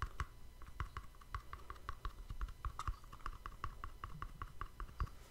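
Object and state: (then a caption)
Cardboard gift box. Fingertips and nails tap and scratch a small, hollow, cream-colored cardboard gift box with a black-edged ribbon bow, held beside a microphone. A quick, steady run of short, dry taps with light clicky tops and a soft low thump fills the clip, each tap dying away almost instantly.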